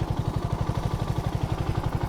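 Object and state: Nothing is struck.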